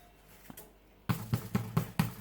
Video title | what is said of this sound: How to Bake Bread. A simple loaf. | tap the bottom should sound hollow